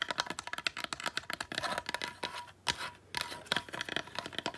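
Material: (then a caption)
Wood. Long nails rapidly tap and scratch a small, dry, weathered driftwood stick ornament held in the hands. Quick, bright, dry clicks alternate with brief rasping scratch passages, with a short quiet pause partway through.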